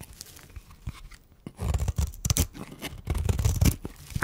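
A metal blade scrapes along the edge of a solid, dry white bar of soap held in the hand, shaving off powder and flakes. Faint, soft scratching gives way after about a second and a half to louder, dry, crunchy rasping strokes.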